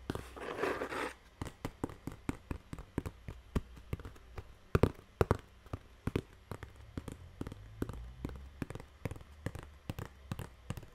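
A small, empty brown corrugated cardboard box with open flaps is held in one hand while long painted nails and fingertips scratch and tap its hollow side. A brief rough scratching burst opens the clip, then about forty quick, dull, low taps follow in an irregular rhythm. Each tap dies away almost instantly.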